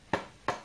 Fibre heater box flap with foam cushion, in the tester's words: that's what you want that kind of sound you don't want a plastic or metal metallic sound